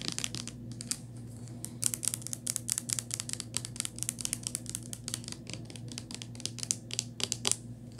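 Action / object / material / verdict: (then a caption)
tap / small plastic bottle with paper label / plastic / none. Long nails tap and scratch a small white Crest plastic mouthwash bottle with a paper label. They make a quick run of sharp, bright clicks and crisp scratches over a steady low hum.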